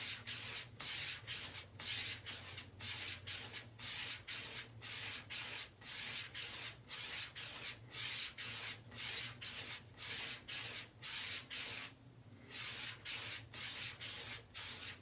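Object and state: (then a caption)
Leather razor strop being stropped. A straight razor is drawn again and again along a brown, flat, flexible leather strop held taut from a door frame, making quiet, bright, airy rubbing swishes. There are some 26 steady back-and-forth strokes, with a short pause near the twelfth second.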